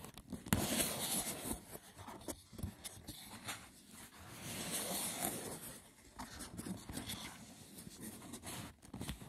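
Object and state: Woven seagrass wicker box, hollow.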